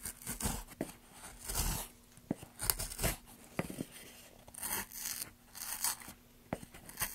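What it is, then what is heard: Basswood block being carved. A wooden-handled carving gouge scrapes and cuts grooves into a long, solid, pale basswood block resting on a black surface, with bare fingers steadying the block as shavings curl around it. Bursts of bright, rasping, tearing strokes alternate with short, sharp wooden clicks over a faint, steady low hum.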